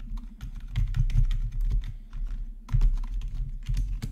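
Fingertips type across the main keys and numpad of a black plastic RGB backlit gaming keyboard. The result is a steady run of quick, clacky keystrokes with a deep, heavy low end and short, bright clicks on top.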